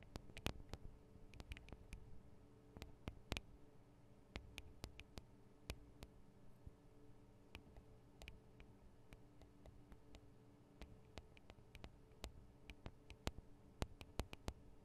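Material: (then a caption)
Metal. Long decorated acrylic nails from both hands tap on the two small cylindrical metal microphone capsules, with their metal guard arms, of a handheld Tascam DR-40 recorder. Dozens of quick, sharp clicks with almost no ring cut through a quiet, low, steady hum, some taps landing in fast clusters and others spaced apart.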